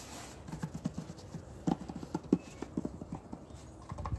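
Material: Cardboard.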